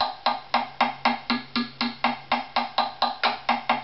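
A strung wooden violin with a hollow body lies face-up on a mat, held by the neck, while its spruce top near the chinrest is tapped with a thin stick. Sixteen short, hollow wooden knocks come at a steady pace of about four per second, each ringing briefly around a mid pitch before dying away quickly.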